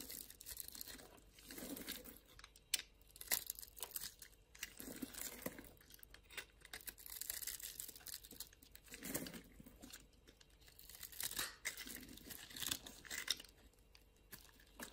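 A utility knife blade scrapes and carves thin shavings off a small, solid pink-and-white striped bar of soap held in a palm, with long lilac nails in view. The cuts make quiet, dry, bright crunching and crinkly scraping sounds in short, uneven bursts, each stopping almost at once.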